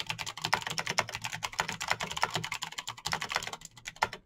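Both hands type fast with fingertips and short nails on a Razer BlackWidow backlit plastic mechanical keyboard with clicky green switches, set solidly on a desk. A rapid, steady stream of sharp, bright clicks and clacks is heard, each key tap cutting off almost instantly with little low-end thump.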